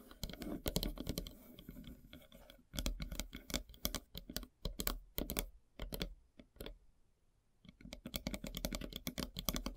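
Long silver nails tap and scrape across a large, solid, flat slice of light-colored wood with a bark edge. Quick, dry, clicky taps come in dense bursts, with softer scratching between them. The tapping thins out to a near-quiet pause around seven seconds before picking up again.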